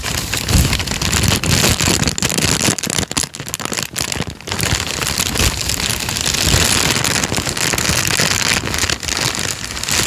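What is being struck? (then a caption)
Thin paper sheet. Fingertips fold, flex and crinkle a thin, light-brown folded sheet of paper. A dense, continuous crackle fills the clip, bright and hissy with soft low thumps underneath, swelling and easing as the sheet is worked for about ten seconds.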